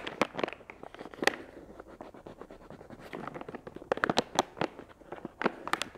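A filled, medium-size, soft flexible plastic wet wipes package with a chamomile print is held in one hand and scratched and tapped with long acrylic nails. Quick, sharp clicking taps and crinkly scratches come in an irregular series, with each tap dying away almost instantly over a soft rustle.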